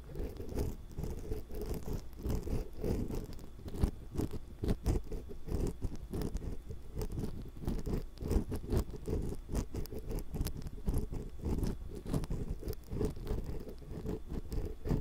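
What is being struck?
Metal mesh microphone capsule grille.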